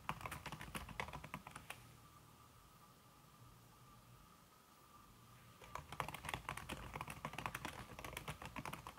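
Fingertips with painted nails type fast on a slim backlit aluminum keyboard whose keys are covered by a red silicone skin, giving soft, muffled clicks and taps. A burst of typing runs for about two seconds, then a quiet pause with a faint steady tone, and fast typing resumes for the last three seconds.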